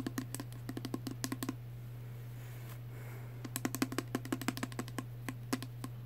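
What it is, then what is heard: Small plastic perfume spray bottle. A small pink plastic Body Fantasies perfume spray bottle with liquid inside is held close and rapidly tapped with fingernails. Two bursts of quick, dry clicking taps are separated by a pause of about two seconds. A steady low hum runs underneath throughout.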